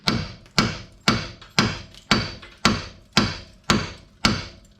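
A hammer strikes a steel shock mount freshly stick-welded to a jeep frame nine times at a steady pace of about two per second, testing the weld. Each blow is a sharp metallic clank with a brief ring that fades quickly. The weld holds and the mount proves solid, though the rest of the jeep is not.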